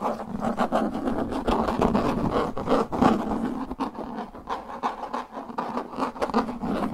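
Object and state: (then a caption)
Plastic frisbee disc. Fingertips and nails scratch and tap the flat face of a translucent plastic frisbee disc held face-on. Quick, uneven scratching strokes and light taps come about three per second, with a hollow, mid-pitched plastic resonance under the dry, brushy texture. The sound stays at a steady, moderate level throughout.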